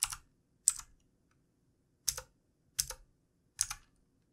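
Fingertips of both hands type on the keys of a backlit plastic computer keyboard. Five short, separate bursts of bright clicking taps ring out, each dying away almost instantly into silence before the next.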